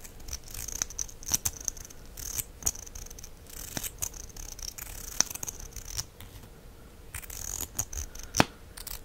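A black wand is slid in and out of the opening of a small, hollow plastic mascara tube with a copper finish by hand. This gives sharp, short clicks and soft, bright scraping with a steady high hiss, with a few louder snaps standing out.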